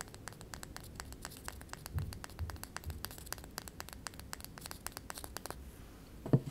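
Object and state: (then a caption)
Small wooden rolling pin. Fingernails scratch and tap a solid miniature light-wood rolling pin held in the hand, making a quick run of dry, crisp clicks and scratchy ticks over a soft low rumble. A slightly louder, fuller tap lands near the end.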